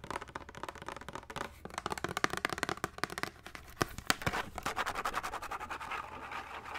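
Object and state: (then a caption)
Plastic case tapped and scratched. A small, hollow, translucent blue plastic box or case is held in both hands and rapidly tapped and scratched with fingertips and nails. Dense, dry clicks and scratchy rasps fill the clip, with a few louder, sharper taps near the middle. The short hollow knocks give way to a steadier scraping texture toward the end.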